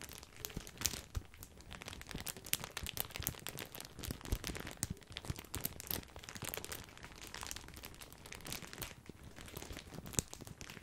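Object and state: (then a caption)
Plastic bag of breadsticks. Fingertips crinkle a large, full, white printed plastic bag of grissini breadsticks. The result is a steady stream of quiet, dense crackling and crunchy rustles with sharp bright snaps scattered throughout, over a soft low rumble.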